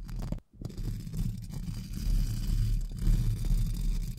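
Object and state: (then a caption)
Metal mesh microphone grille. Two pink plastic spoolie brushes, held in fingertips, scratch and brush across the hollow round metal mesh grille of a large silver USB microphone. The result is a dense, deep, rumbling scraping texture with almost no bright content, broken by a brief silence near the half-second mark before the brushing continues steadily.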